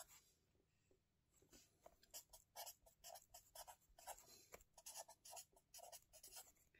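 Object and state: Paper notebook being written on with a felt-tip marker.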